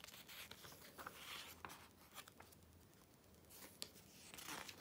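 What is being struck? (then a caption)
Glossy paper magazine pages. A hand sweeps the pages of an open glossy paper Vogue magazine, the July 2013 issue, over and rubs them flat with its fingertips. Quiet, bright, crisp swishes and crinkly rustles come with a few sharp papery snaps, and there is little low end.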